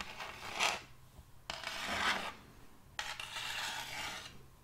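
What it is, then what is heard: End-grain wooden board being scratched. Metal fingertip claws rub and rasp across the grain of a large, solid, round board of checkered end-grain wood. Three separate scratchy strokes swell and fade, each a dry, bright, broadband rasp with little low end.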